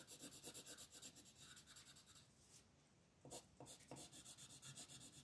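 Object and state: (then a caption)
Colored pencil rubbing on paper. A purple wooden colored pencil rubs steadily back and forth over a flat paper coloring book page lying on a table, while the other hand with long nails rests on the page. Quick, bright, scratchy strokes repeat in an uneven rhythm, fade to a soft hush for about a second midway, then pick up again with the same rasping texture.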